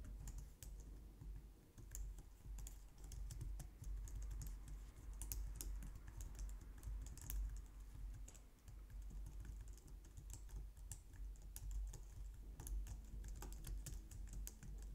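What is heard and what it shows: Long nails and fingertips type steadily on the keys of a compact, low-profile white plastic computer keyboard. The result is a continuous run of quick, bright clicks and taps over a steady low hum.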